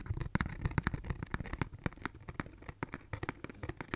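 Fingernails scratch a pink cardboard tissue box with a cloud print, a hollow cube held in one hand. The result is a quiet, dry run of quick, crackly scratches with a hollow low thump under each stroke and very little ring.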